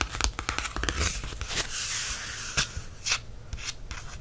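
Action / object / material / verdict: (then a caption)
tap / paperback book cover, card and paper / card / none. Fingertips tap and trace the raised printed letters on the cover of a black matte paperback book. A run of quick, dry taps gives way to a steady, bright scratchy rubbing as the letters are traced, then a few more soft taps follow.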